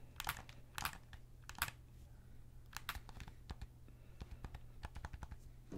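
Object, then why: Plastic game controller. Fingertips click the triggers and buttons of a hollow white and black plastic PS5 controller held in both hands, and tap its plastic shell. The result is a quiet run of sharp, bright clicks and dull taps, some louder snaps standing out, over a steady low hum.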